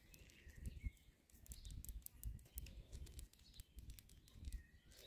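Fingertips and long manicured nails tap and scratch the rough flat tops of a concrete palisade garden border, a row of solid cylindrical stone-like posts about 10 cm across set in the ground as garden edging. The sound is soft, dull low thumps with quick scratchy rasps, and birds chirp in the background.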